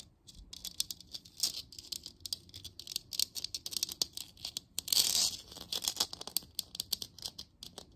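A hollow printed-plastic moon lamp about 15 cm across, lit from inside and held in both hands, is tapped and scratched with long nails. Many quick, dry, bright clicks and ticks with almost no ring are heard, plus a brief louder scratchy rasp around the five-second mark. The sound is thin and high, with almost nothing in the low end.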